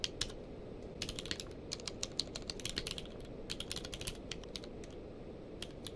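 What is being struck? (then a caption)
Plastic mechanical keyboard. Both hands type rapidly with their fingertips on a full-size mechanical keyboard with a blue-grey case and white and grey plastic keycaps, lying on a blanket. The result is a quick, irregular stream of short, bright plastic key clicks over a low, soft rumble, with each click dying away almost instantly.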